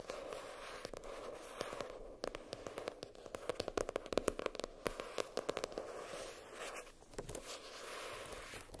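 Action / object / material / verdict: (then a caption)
tap / spiral notebook with cardboard cover / cardboard / none. Long pink French-tip nails tap and scratch the floral-printed hard cardboard cover of a spiral notebook lying flat. Quick dry clicks, with no ring, cluster densely in the middle of the clip over a soft, steady scratching hiss centered in the midrange. The scratching eases back at the start and end.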